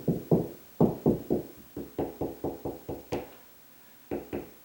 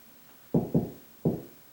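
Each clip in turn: First: solid drywall ceiling over joist. Second: hollow drywall ceiling between joists.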